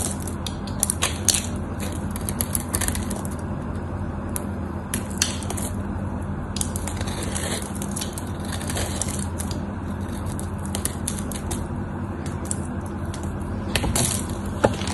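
A craft knife cuts into the scored surface of a solid white soap bar held in the fingers, and flakes crumble off. Crisp, crunchy scraping and brittle crackles sound throughout, with bright snapping ticks over a steady low hum.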